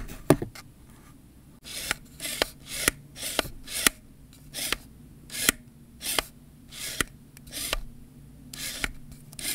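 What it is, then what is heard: Plastic camera zoom lens. Fingertips rub and twist the ribbed zoom and focus rings of a hollow black plastic Canon 18-55 kit lens held in the hands. After a sharp click near the start, a steady series of short, dry, bright rasping strokes follows, each with a tiny tick at its edge, separated by brief quiet gaps.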